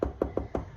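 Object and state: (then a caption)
Hollow-sounding baked loaf of bread. Four hollow, drum-like taps on a homemade loaf of bread just out of the oven, partly covered in foil. Each short knock has a low, resonant thump that dies away quickly, and the hollow sound shows the loaf is baked through.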